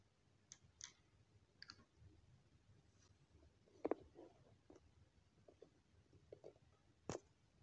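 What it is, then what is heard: Glass dropper bottle, pipette clicked on neck. A small frosted glass Niacinamide serum dropper bottle, hollow and mostly full of clear liquid, has its glass pipette tapped and clicked against the threaded glass neck before the cap is put back on. Short, dry, irregular clicks with a bright edge and almost no ring rise above a quiet background, with a firmer double click near the middle and a sharp one at the end.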